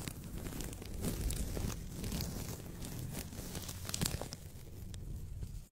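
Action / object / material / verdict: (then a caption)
scrape / thin paper sheet / paper / none. A thin white paper sheet is held in both hands above a microphone and bent, rubbed and crinkled with the fingertips. The result is a steady close-up crinkling and rustling with a heavy low-end rumble from the handling. Sharp bright crackles are scattered through it until it cuts off abruptly at the end.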